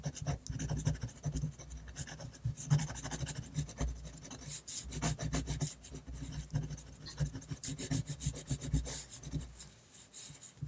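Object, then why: Metal pen nib on paper sheet. The metal nib of a black Rotring fountain pen, held in the fingers, scratches across a large flat sheet of white drawing paper on a surface in quick short hatching strokes. The result is a continuous run of dry, rasping scratches with bright edges, rising and falling in bursts over a steady low hum.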